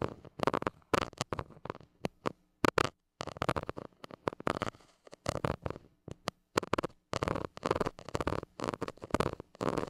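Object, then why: Metal mesh microphone grille. A white plastic stick tip scratches the hollow metal mesh grille of a small gold mini microphone. The result is a steady series of short, rasping scratch bursts, full and midrange-heavy with a bright edge, separated by brief silences. A faint low hum runs underneath.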